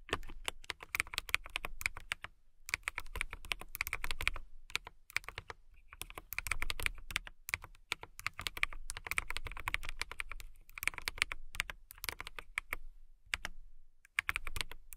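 Fast typing with long nails and fingertips on a compact transparent acrylic mechanical keyboard with clear plastic keycaps and a clear case. The result is a dense stream of quick, sharp clicks with a bright, clacky edge and a low thock underneath. The bursts come in rapid runs separated by brief pauses.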